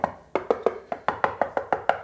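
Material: Ceramic.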